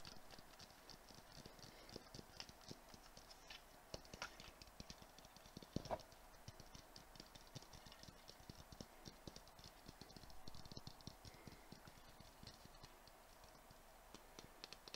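A clear round glass Christmas ball ornament with glitter inside and a white tag is held in the hands and tapped rapidly with fingertips and nails. The result is a steady, quiet patter of dense, dry clicks and soft knocks with almost no ring, mixing low thuds with bright ticks. A few taps stand out louder, most noticeably around the six-second mark.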